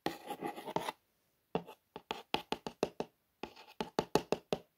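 Long nails trace and scratch over the printed Air Bus lettering on a cardboard toy box. A dense second of dry scratching is followed by a brief pause, then a series of short, crisp tapping strokes with a papery, mid-range tone and almost no ring.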